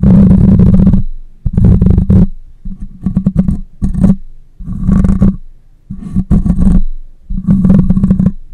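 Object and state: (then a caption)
Metal mesh microphone grille being scratched. Long nails scratch the side and top of a black condenser microphone's metal mesh grille. The result is loud, low, rumbling scratches in uneven bursts separated by short quiet gaps.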